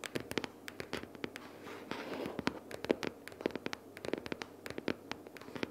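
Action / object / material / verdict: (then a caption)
tap / cardboard sticky-notes box / cardboard / none. Long nails rapidly tap and scratch the top cover of a closed pink cardboard sticky-notes box lying flat. Quick, dry clicks sound in uneven bursts, each dying away at once, with a soft papery scratching running underneath and a brief hiss of rubbing near the two-second mark.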